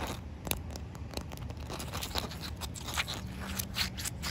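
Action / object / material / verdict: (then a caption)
scrape / wet concrete slab / concrete / none. Short white nails scratch and tap on a solid, wet outdoor concrete slab. The result is a quiet run of dry, gritty scrapes with brief, bright clicks at an uneven pace, over a low background rumble.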